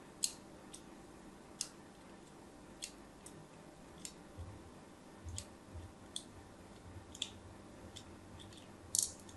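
A thin metal blade scores diagonal lines into the surface of a solid white rectangular soap bar held in a hand with pink nails. About eleven short, crisp, bright scratching clicks stand apart over a quiet, low background hum. Each cut dies away almost at once.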